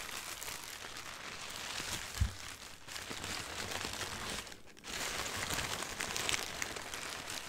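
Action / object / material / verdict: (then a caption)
scrape / printed tissue wrapping paper / paper / none. A thin white printed tissue wrapping paper sheet is rubbed by hands and a sweater sleeve, with nails scratching across it. The result is a steady, bright crinkling and rustling with a brief low thump near the two-second mark and a short lull just before five seconds.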